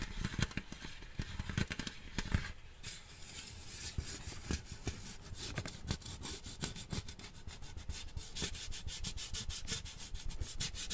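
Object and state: Metal tin can.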